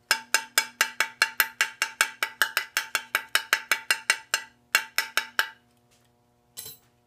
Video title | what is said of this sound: Coleman time to assemble! | 腐食してるとボツンボツンボツンと鈍い音がする